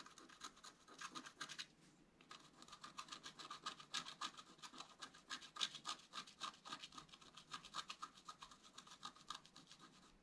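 A wooden stylus scratches fine lines into the coating of a flat black-coated scratch art card, making quiet, bright, dry scratching strokes in a rapid, uneven rhythm. There is a short pause around two seconds in, then the strokes continue steadily, with a few louder scrapes standing out.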